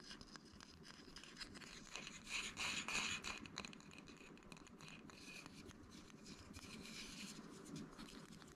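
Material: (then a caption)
Bamboo. A small, flat, light, hollow bamboo wood box is held close and tapped and scratched on its top and edges with fingertips and nails. The result is a quiet, steady stream of rapid, bright scratching and light tapping that swells louder for a moment around the third second before settling back into soft, continuous scraping.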